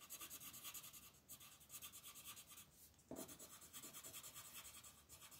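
A peach-colored pencil scratches and rubs across a flat paper coloring book page on a table in fast shading strokes, while the other hand, with red nails, holds the edge of the sheet. About twenty quick, bright, raspy strokes follow one another in a steady rhythm, with a brief lull near the three-second mark before a slightly louder stroke resumes the pattern. The scratching stays quiet and dry throughout.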